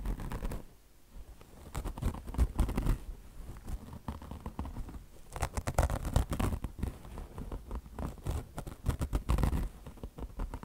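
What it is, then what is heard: Mesh-covered foam sponge being scratched. Long blue nails scratch quickly over a beige, peanut-shaped mesh fabric chenille car wash sponge with mesh over foam. The result is dense, rapid, papery scratching in uneven bursts, weighted toward a low rumble, with brief quieter pauses between flurries.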